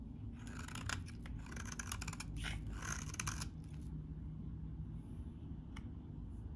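A metal utility blade shaves crumbly curls from a solid, hand-sized beige-tan bar of very dry vintage soap. Crisp, bright scraping and crackling bursts fill the first three and a half seconds over a steady low hum. It then quiets to the hum, with one faint tick near the end.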